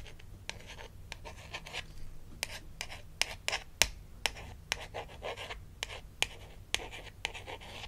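A small, flat plastic toy dentist ID badge from a Melissa and Doug Super Smile Dentist Kit is held in the hand and scratched and tapped across its surface with long acrylic nails. Bright, dry scratching runs throughout, broken by a series of sharp, clicky taps that stop almost instantly.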